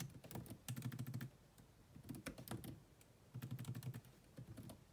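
Fast typing with long manicured nails and fingertips on a grey laptop's dark plastic chiclet keys, its hollow body adding a low, hollow thock. Quick clicks come in three dense bursts with quieter pauses between them, each keystroke short and dry with a faint bright tick on top.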